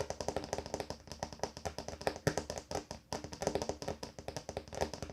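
Fingers tap rapidly on a wooden table top, making a steady, uneven patter of quick, dry knocks. Each tap has a soft, low-mid body and dies away almost at once with no ring.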